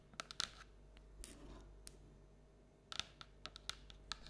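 Long black and orange nails scratch and tap along the outside wall of a hollow printed paper or cardboard Halloween treat bucket with an orange-and-black pumpkin print, held tilted on a table. Crisp, bright clicking taps and short scratchy strokes come in uneven bursts with quiet gaps between them, each dying away almost instantly.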